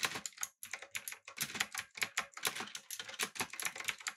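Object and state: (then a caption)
Mechanical keyboard with round plastic keycaps. Both hands type continuously with their fingertips on a backlit mechanical keyboard with an aluminum body, blue switches and round plastic keycaps. A rapid, uneven stream of sharp, bright clicks and clacks is heard, each dying away almost instantly with almost no low end.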